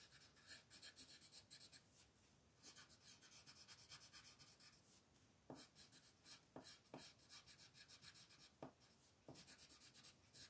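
A royal blue wooden colored pencil scratches over a thin white paper mandala coloring sheet lying flat on a table, in coloring strokes. Quiet, bright rhythmic scratching rises and falls with each stroke, with a steadier stretch in the middle. Several sharper taps stand out from about 5.5 to 9.5 seconds.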